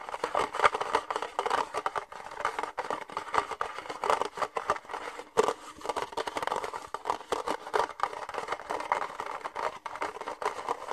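An empty red disposable plastic party cup with thin ribbed walls is held in the hands and tapped and scratched with fingernails. The result is a steady stream of quick, dry, crackly taps and scrapes centered in the midrange around 1.2 kHz, with no low end and almost no ring.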